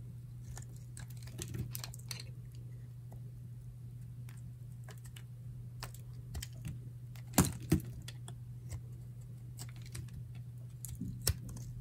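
A solid, dry pink bar of soap, held flat in the palm, is shaved with a metal utility knife blade. Irregular, crisp, dry scraping clicks and short bright cuts sound over a steady low hum, with a few sharper, louder cuts standing out near the end.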